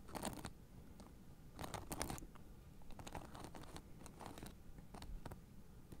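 Fingertips and nails scratch across the white plastic spiked discs of a blue fabric acupressure mat held upright. Quiet, crunchy scratching bursts come in uneven clusters with short bright edges over a low, muffled rumble. Each burst fades almost at once.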